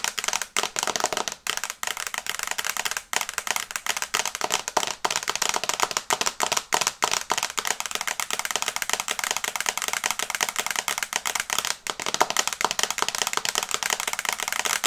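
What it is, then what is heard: Fingernails tapping a tablet glass screen. Long painted nails tap rapidly on the glass screen of an iPad held upright in a teal and brown plastic case. The result is a fast, continuous stream of sharp, dry, bright clicks with no ring and almost no low end, broken by a few brief pauses.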